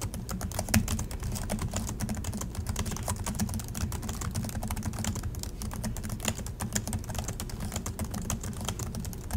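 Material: Plastic.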